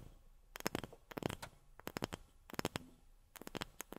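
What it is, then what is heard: Wooden object tapped with fingernails. Long fingernails tap on a wooden object, making quick, dry clicks in four short flurries separated by brief pauses. Each tap is crisp and bright with almost no ring, and the sound is quiet and close.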